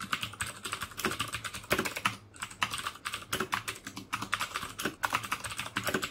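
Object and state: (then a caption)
Plastic mechanical keyboard with clicky switches. Fingertips type steadily on the keycaps of a black plastic mechanical keyboard with clicky Cherry MX Blue switches. The result is a dense, fast stream of sharp, bright clicks with very little low end and almost no ring, broken by a short pause partway through.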